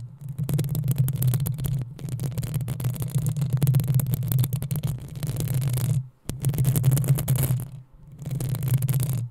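Long acrylic nails of both hands scratch the rounded, hollow metal mesh grille of a black USB condenser microphone. The result is a dense, continuous rasping scratch with a heavy low rumble. It comes in sustained stretches separated by brief pauses near six and eight seconds.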